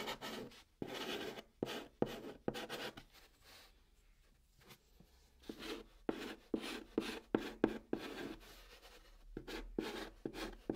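A white chalk stick held in the fingertips writes letters across the top of a large, flat, brown, hollow cardboard box. Dry, scratchy strokes come in quick irregular bursts with a hollow papery tone, pausing briefly in the middle before the scratching picks up again.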